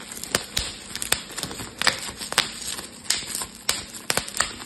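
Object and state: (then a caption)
Plastic bubble wrap being popped. A clear, air-filled plastic bubble wrap sheet is held in both hands while fingers pinch and pop the bubbles. Sharp, bright pops snap out at irregular intervals over a soft, steady crinkling of the plastic. Each pop dies away almost instantly.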